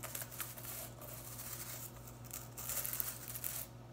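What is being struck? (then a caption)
Synthetic broom bristles. Long acrylic nails and fingertips run through and scratch along the dense blue synthetic plastic bristles of a household broom head with a white plastic top, held in one hand, flicking them. This makes bright, crackly scratching and rustling with quick flicks over a steady low hum, getting busier and louder toward the end.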